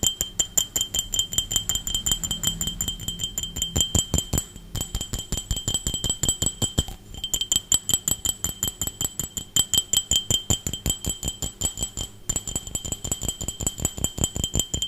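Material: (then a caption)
Glass. An empty, hollow, clear glass drinking tumbler is held in one hand and tapped fast with the fingernails of the other hand. The result is a rapid, uneven stream of sharp, short clicks, each carrying a bright glassy ping near 3 kHz and a higher ring above it, with a few brief pauses along the way.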